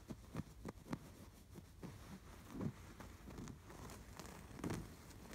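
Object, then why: Stuffed canvas pillow with embroidered stitching. Fingertips scratch the stitching of a stuffed canvas pillow embroidered with a red sweater appliqué motif with fuzzy cuffs. The result is a quiet, dry, low-weighted scratching and rustling with short, sharp scrapes that stop almost instantly, the strongest near the start and toward the end.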